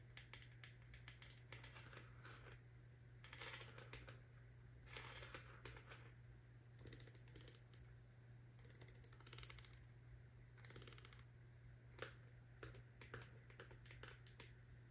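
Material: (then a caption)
Plastic. Long nails tap and scratch the white plastic lid of a medium hollow plastic gummy supplement jar with contents inside, held in one hand. Quick, light, clicky taps come in clusters with brief scratchy bursts, over a steady low hum.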